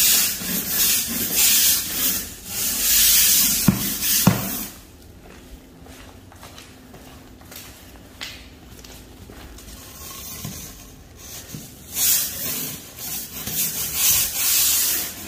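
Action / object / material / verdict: scrape / ceramic floor tile grout under a plastic-bristle brush / ceramic / none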